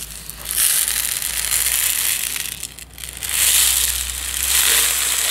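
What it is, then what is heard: Plastic jar of dry tea granules. A medium plastic jar with a yellow lid, partly full of dry instant tea granules, is tilted side to side and shaken by hand. It gives a bright, hissing granular rattle in two long swells, with a brief dip just before the three-second mark, over a faint steady low hum.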